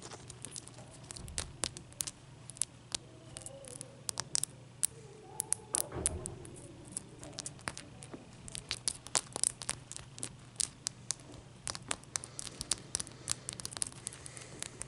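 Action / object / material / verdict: tap / large ice cube tapped with fingernails / ice / none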